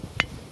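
A stone near a well is struck once, giving a single short, dry tap with a bright click around 2 kHz that dies away almost at once. It sounds like an ordinary, dull stone, unlike a nearby stone that rings like a bell.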